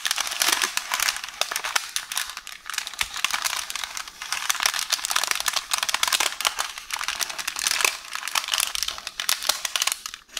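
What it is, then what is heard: Roll of baking paper. Long orange nails scratch, tap and crinkle a beige roll of baking paper, a hollow tube resting on a counter. A steady, dense stream of bright, papery crinkling and rustling comes with rapid, sharp little clicks and almost no low end. The sound rises and falls in busy bursts throughout.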